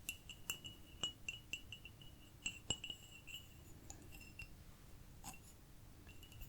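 A small ceramic cup is tapped repeatedly, giving a series of quick, bright, chime-like clinks with a clear ring near 2.9 kHz. The taps are short and quiet, growing sparser and softer toward the end.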